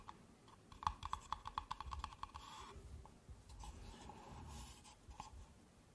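Long nails tap quickly on the bottom of stacked empty pink paper cups, giving a run of short, dry clicks with a hollow tone near 1.1 kHz. The taps then give way to softer scratching along the cups' sides, a quiet, rustling texture with little ring.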